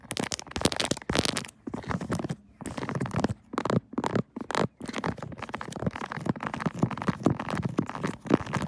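Long nails rapidly tap and scratch a pink 3D silicone Kirby phone case with raised buttons, fitted on a smartphone mounted on a tripod. The result is a dense run of quick, dry clicks and scratchy rustles over the case and its raised keys, broken by a few brief pauses.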